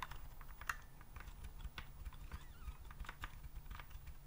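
Fingertips type and tap on a white plastic typewriter-style keyboard with round keycaps, held upright. A steady stream of quick, dry plastic clicks sounds over a low, muffled rumble, each tap fading almost instantly.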